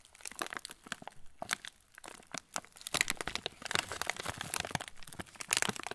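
Fingertips squeeze and rub the clear-and-yellow plastic film of a full TUC cracker packet, seen from its underside. Dense, bright crinkling and crackling comes in quick irregular bursts, with almost no low end, growing louder and busier in the second half.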